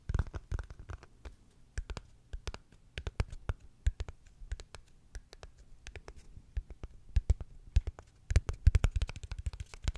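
A small, hollow, dark grey rectangular gift box lid, likely cardboard with a white interior edge, is held in both hands close up and tapped and scratched with long fingernails and fingertips. Rapid, dry clicks and brief scratches land over a soft, low hollow thump, each dying away almost instantly. The tapping grows denser and louder toward the end.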